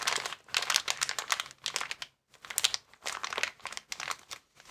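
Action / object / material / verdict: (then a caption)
scrape / inflated plastic air column packaging bag / plastic / none. A transparent, air-filled plastic air column cushion bag with vertical air columns is lifted, bent and squeezed by hands. The result is bursts of bright, dense crinkling with a few brief pauses in between.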